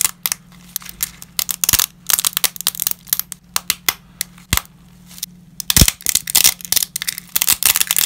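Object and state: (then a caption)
Dry lasagna pasta breaking. Black-gloved fingers break small pieces of uncooked wavy dry lasagna sheets into fragments over a scattered pile. Rapid, dry snaps and cracks follow one another in quick bursts, bright and crisp with almost no ring. A low, steady hum sits underneath.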